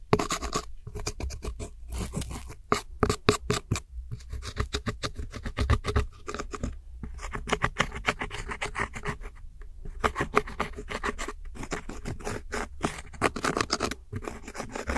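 A metal hook tool scratches and crumbles the black and center pans of pressed powder eyeshadow in a round plastic palette. Rapid, dry scraping strokes and crisp little clicks repeat throughout, with a low rumble underneath and brief pauses between bursts.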